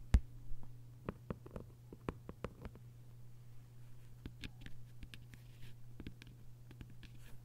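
Long nails tap and scratch the cover of a closed hardcover copy of 1Q84 lying flat, with its paper dust jacket on. Quiet, crisp, irregular taps with brief scratchy strokes sound over a steady low hum, each tap dying away almost instantly.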